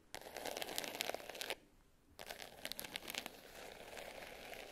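Long nails scratch and tap the top and edge of a small black glitter-covered hard case with a clasp, lying closed and flat. The result is a dense, bright, crinkly scratching with quick ticks and almost no low end. It breaks off into near silence for about half a second midway, then resumes and continues steadily.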